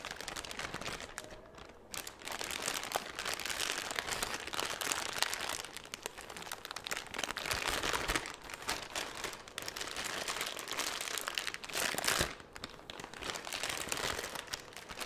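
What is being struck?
Thin plastic bag.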